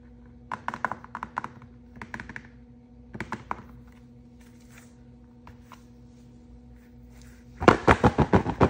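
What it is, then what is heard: Plastic capsule egg in plastic film wrap. A large hollow Disney Mystery Egg, a plastic capsule wrapped in printed plastic film, is held in both hands and turned while painted fingernails and fingertips tap and rub it. Short groups of light, dull plastic taps and clicks come over a faint steady low hum, with a few quiet scratchy rubs in between. It ends in a louder, denser run of crinkly taps.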